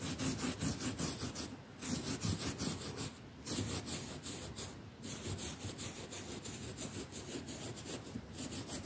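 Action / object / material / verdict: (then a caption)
scrape / quilted cotton mattress cover scrubbed with a toothbrush / cotton fabric / none. A hand scrubs a plastic toothbrush back and forth across a large, flat, quilted cotton mattress cover with a soft padded top. Steady, bright, raspy bristle scratching rises and falls with each stroke, with a low rubbing undertone and brief lulls between bursts.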